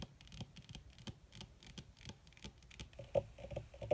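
Long red fingernails on both hands tap quickly across a flat, black, crinkled leather or faux-leather surface. The result is a quiet, uneven patter of short, dry clicks with a faint tone around 550 Hz. Two sharper, louder taps stand out near the end.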